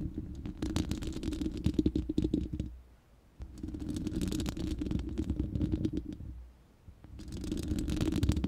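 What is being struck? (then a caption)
Steel mesh microphone grille. Long nails scratch the bare, hollow round steel mesh grille of a studio microphone in three bursts separated by short pauses. The scratching produces a dense, rasping rumble with a hum around 300 Hz, sprinkled with brief bright ticks as the nails catch the mesh.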